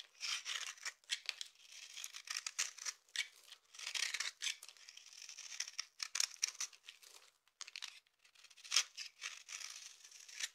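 A utility knife blade scrapes and cuts into a dry, hand-sized solid purple soap bar with an embossed surface, held in one hand, breaking it into crumbly shavings and small cubes. The result is a run of crisp, bright scraping and crackling bursts with no low end, each crunch ending abruptly.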